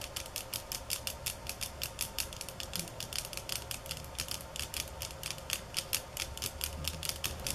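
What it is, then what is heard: Bamboo sticks. Long fingernails tap on bamboo sticks at varying speeds and intensity, from soft and slow to fast and hard. The result is a rapid run of dry, bright clicks that stop almost instantly over a steady low hum, with some taps landing harder than others.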